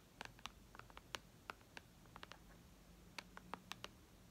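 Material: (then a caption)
Glass. Long red nails tap on the glass screen of a white iPad lying flat, making about sixteen quiet, short, bright clicks at an irregular pace. Each tap dies away at once over a faint low hum.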